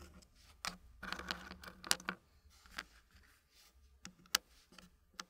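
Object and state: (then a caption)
Wooden puzzle pieces tapped into a wooden tray. Fingertips place and lift small solid dark-wood puzzle pieces, tapping and knocking them into a thin green wooden frame. Each contact is a short, dry, bright click or knock with almost no ring, coming at an irregular, unhurried pace with soft scraping and shuffling in between. The overall level is quiet.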